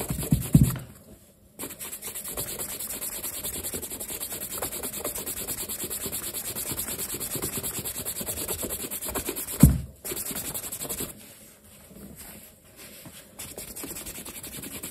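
A black leather sneaker with metal eyelets, stuffed with a striped cloth and held in the hand, is buffed on its leather upper with a yellow cloth. Fast, steady rubbing strokes make a continuous low, brushy scratching that is broken by a couple of short pauses and two louder thumps.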